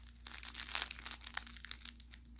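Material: Plastic film.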